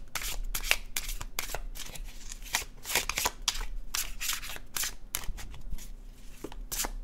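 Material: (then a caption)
Cardstock. An illustrated cardstock tarot deck is shuffled in the hands, its paper card edges sliding against each other. Quick, bright papery rustles and flicks come in a steady stream of short bursts over a faint low hum.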